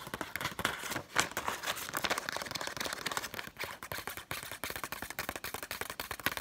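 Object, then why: Paper banknote. A single thin, flexible Egyptian paper banknote, held in both hands above loose banknotes lying on a table, is scratched and flexed with long acrylic nails. The result is a steady stream of quick, dry, crackling scratches and crinkles with short bright edges, mostly upper-mid to high with almost no low end.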